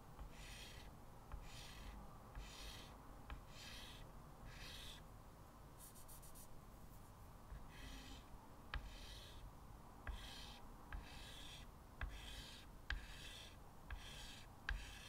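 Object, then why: Chalk on a wood-framed chalkboard. Fingertips hold a small white chalk stub and scratch repeated parallel lines onto a solid, flat blackboard in a light wood frame. Each stroke makes a short, bright, raspy scrape, separated by brief pauses, with occasional sharp ticks as the chalk meets the board. A steady low rumble runs underneath throughout.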